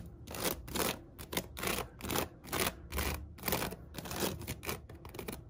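Long acrylic nails and fingertips scratch and tap along the woven sides of a medium, hollow storage basket with a seagrass upper band and a white cotton rope base, holding toilet paper rolls. The result is a quick, uneven series of dry, rustling scratch bursts with short, crisp taps that stop dead with no ring.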